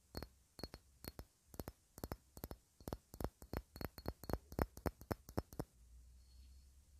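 Long red nails tap a hand-sized, clear, faceted cut-glass ornament that looks solid, held in both hands. A run of quick, irregular, dry clicks follows, each with a faint bright tick and almost no ring. The tapping stops before the end, leaving a low, steady hum.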